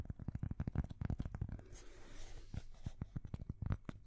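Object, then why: Thin cork coaster. Long fingernails tap and scratch a thin, solid, square cork coaster held close to the side microphone. A quick run of short, dull, low thuds stops dead with no ring. Midway, a softer, brighter scratching stretch breaks in before the tapping resumes.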